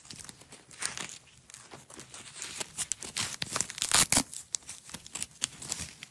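Long nails and fingertips wind a single red hook-and-loop nylon velcro strap into a roll, peeling the velcro apart. The result is a steady series of short, bright, crackly ripping and crinkling bursts that grow louder toward the middle before easing off again.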